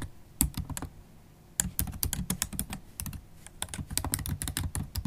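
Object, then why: Laptop keyboard with plastic keys. Long acrylic nails and fingertips type on a MacBook Pro keyboard with black plastic keys set in an aluminium body. Rapid bursts of crisp clicky keystrokes, each with a soft low thud and a bright tick, come in two runs separated by a brief pause. Faint background noise sits underneath.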